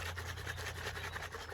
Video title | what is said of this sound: Skeeter Restoration Part 6 -24 Volt Trolling Motor and Install!- | It sounds like a liquid maraca.